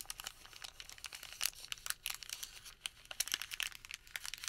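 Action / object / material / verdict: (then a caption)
scrape / thermal paper receipt / paper / none. A Home Depot thermal paper receipt is crumpled small, then opened, as fingertips crinkle it. Dense, bright, crackling crinkles with sharp snaps come in quick irregular bursts, with almost no low end and no ring after each crackle.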